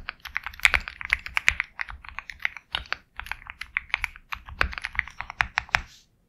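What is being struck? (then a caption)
Mechanical keyboard with plastic keycaps. A compact 65% Sugar65 mechanical keyboard with KTT Kang White switches, a black case and white and black plastic keycaps is typed on quickly with the fingertips. Rapid, short, bright clacks run in a steady stream with little low end, broken by a few louder, sharper strikes, then it stops.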